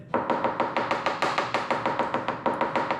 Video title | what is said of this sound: Drill and Fill repair on the 944 fiberglass hatch | You can still hear there's a little bit of a void there.